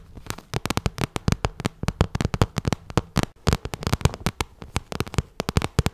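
Long nails tap and scratch both sides of a hollow, pink, glossy vinyl zippered cosmetic bag. About 38 quick, dry taps sound in rapid, uneven bursts, each with a soft low thump and a short crackly click that dies away almost at once.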